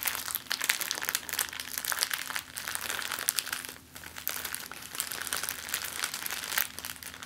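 An empty, thin, clear plastic zip-lock bag is scrunched into a ball and crumpled in the hands. Continuous bright, crackling crinkles rise and fall over several seconds, with a brief quieter dip near the middle.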